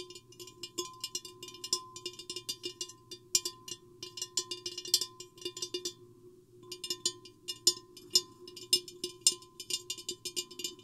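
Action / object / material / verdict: tap / empty glass vase / glass / none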